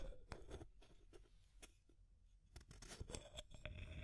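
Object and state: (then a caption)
Plastic tube container tapped and scratched with nails. Long nails scratch and tap along the wall of a small, clear, hollow plastic tube container with an aluminum screw lid and pink contents. Irregular sharp taps and crisp scraping rustles come close together, each dying away almost at once. A low rumbling undertone sits beneath them.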